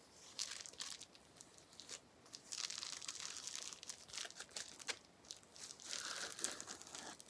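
A small sheet of clear plastic bubble wrap with air-filled bubbles is held in both hands while the fingertips pinch and pop the bubbles. Bright, crinkling pops and crackles come in dense bursts with short pauses between, with almost no low end.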